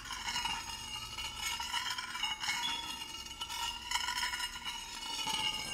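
A small, shallow, empty stainless steel dish is held in gloved hands while a thin metal spoon or tool stirs, scrapes and taps against its inside. The result is a steady run of bright metallic scraping with light clinks that ring briefly around 3 kHz, and almost no low end.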